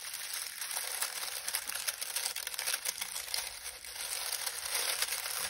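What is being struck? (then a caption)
Pile of dried lemon balm leaves. A large pile of dried lemon balm leaves on a grey towel is kneaded, pressed and crumpled by both hands with the fingertips. The result is a steady, bright, crinkly rustling with frequent small crackles and little low end.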